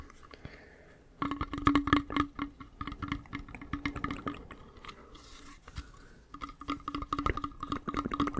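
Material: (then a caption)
Metal, leather. A small hollow metal hip flask with a brown leather wrap and a metal screw cap is held in both hands and tapped and scratched with fingernails and fingertips. After a quiet first second, quick irregular taps ring with a hollow tone around 285 Hz and a higher overtone near 1.1 kHz, mixed with soft scratchy rustling. A brief lull follows, and then the tapping resumes.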